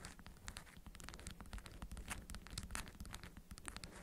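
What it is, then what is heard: Beeswax-coated cotton food wrap. A small, fist-sized bundle of orange-print beeswax-coated cotton food wrap, folded around a hidden object and resting on green felt, is tapped and scratched by long acrylic nails across its waxy fabric surface. Dense, quick crinkling taps and scratchy rustles come in a steady stream, with bright clicks over a soft low rumble.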